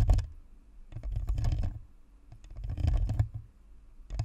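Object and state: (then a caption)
Plastic USB microphone scratched and tapped. Long nails on both hands scratch and tap the top and sides of a white, hollow, spherical plastic Blue Snowball USB microphone with a perforated grille. The result is bursts of dense, rapid clicking and scratching over a deep, boomy low-end thud, coming in waves separated by quieter pauses.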